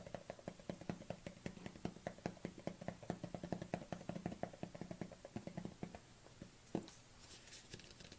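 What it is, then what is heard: Plastic cosmetic jar. Long fingernails tap rapidly on the lid and sides of a small plastic collagen jar with a black lid, held in both hands. The sharp, hollow plastic clicks come in a quick, steady run with very short decay. After about six seconds they thin out into a few scattered taps and faint bright scratching.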